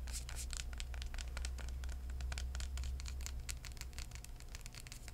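Fingertips tap and rub across the purple floral cardboard cover of a hardcover book. Quick, soft, uneven taps and dry scratchy brushes patter over a steady low hum.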